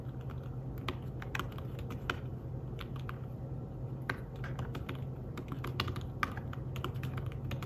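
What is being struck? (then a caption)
Fabric-covered tablet keyboard. Fingertips tap steadily on the keys of a thin, flat, grey fabric-covered folio keyboard for a tablet. The keystrokes are soft, short, muffled clicks with a few sharper taps standing out, over a constant low hum.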